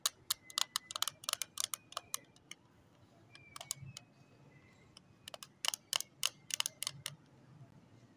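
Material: Plastic.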